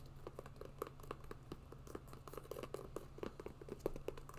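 An empty grey and black hiking sneaker made of synthetic overlays, mesh and a rubber sole is tapped and scratched with long nails. A quick, irregular run of soft, dry clicks and light scratches, each dying out almost at once, sits over a steady low hum.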